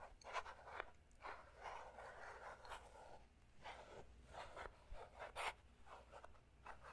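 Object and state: Clear plastic puzzle cube.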